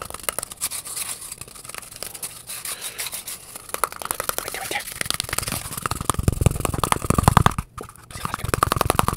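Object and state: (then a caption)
Cardboard tube scratched and rubbed. Fingertips and nails quickly scratch and rub the surface of an empty, hollow, hand-sized brown cardboard toilet roll tube held close to the microphone. It makes a rapid, irregular stream of dry scratching and rustling that grows louder and more hollow-sounding toward the end. There is a brief gap near the close before the scratching resumes.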